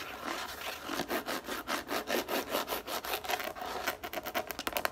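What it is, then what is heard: Plastic frisbee being scratched. Long nails scratch quickly back and forth across the grooved top of a yellow plastic frisbee lying on a table. The result is a rapid, irregular run of dry, bright scratching strokes with almost no low end, each stopping short without any ring.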